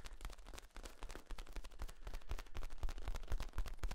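A long, hollow, ribbed, flexible yellow corrugated plastic tube is held across the chest while hands squeeze and rub its ribs. It makes a dense, rapid stream of crackling, ratcheting clicks over a deep, thumpy low rumble, rising somewhat in loudness toward the end.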